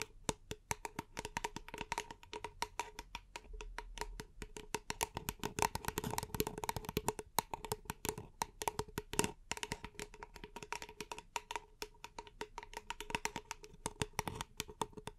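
A small, empty, hollow paper cup is held upside down and tapped rapidly with long painted nails for about 15 seconds. The taps are dry and clicky, with a hollow ring near 920 Hz and a lower tone around 420 Hz. Each tap dies away almost instantly, with some bright, crisp edges on top.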